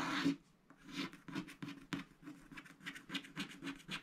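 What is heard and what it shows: A wooden stylus scratches a flamingo motif into a coated scratch-art paper sticker sheet resting on a mat. It makes a series of short, dry, raspy strokes with bright, hissy texture, separated by brief quiet gaps.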